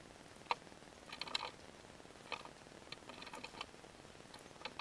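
A palm-sized, solid pink glittery bar of soap is held in the hand and carved and scraped with a metal box-cutter blade, leaving pink shavings. The cuts come as quiet, irregular, crisp scrapes and sharp clicks, bright and dry, with almost no ring and little low end.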